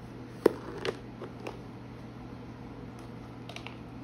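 Long painted nails tap the lid and sides of a medium clear plastic storage box with snap latches and a green handle, filled with washi tape packs, before it is opened to show the contents. A few short, dry plastic clicks with a hollow mid-pitched knock stand out over a quiet background. Softer ticks and light handling sounds follow toward the end.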